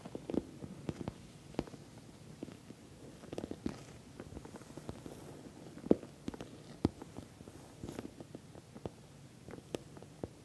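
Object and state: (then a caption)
Patent vinyl cosmetic bag, nail tapping. Long nails tap and scratch the sides of a soft-sided, filled, glossy orange patent vinyl cosmetic bag. Irregular sharp little clicks and brief ticks stand out over a low, soft rustle and crinkle, with the occasional louder tap.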